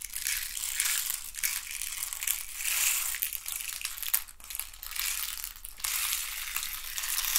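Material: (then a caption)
Wood. A hand-sized hollow hexagonal box made of thin wooden sticks is scratched and rubbed with fingernails. This produces a continuous bright, crackly scratching that swells and fades in waves, with a few sharper clicks. There is almost no low end.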